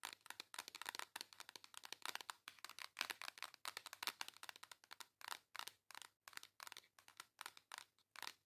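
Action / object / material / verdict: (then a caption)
tap / flat cardboard palette / cardboard / none. Long acrylic nails tap and scratch the front of a flat pink embossed cardboard makeup palette held upright. The result is a rapid, uneven string of dry, crisp clicks and scratchy crinkles, bright and with almost no ring or low end.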